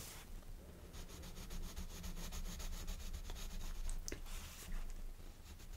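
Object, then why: Colored pencil on a paper coloring-book page. A blue colored pencil rubs and shades in short strokes across the page of a large open paper coloring book lying flat on a wooden table, held open by one hand. Quiet, rapid, scratchy rubbing strokes repeat at roughly four per second, with a bright papery texture over a steady low hum.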